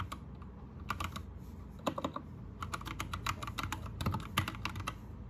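Both hands type with their fingertips on an Anne Pro 2 60% mechanical keyboard with plastic keycaps and a teal backlight. The result is a quick, uneven run of sharp, bright plastic clacks over a low, steady background hum. Some keystrokes land in dense bursts.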